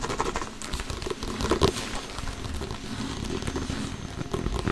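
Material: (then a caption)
Synthetic leather. An inflated, hollow soccer ball with a synthetic leather cover is tapped and slapped with an open palm and fingers while being turned. The result is a steady, dense patter of soft, dull thumps and light crinkly taps, heavy in the low end, each dying away almost at once. A louder slap stands out near the middle.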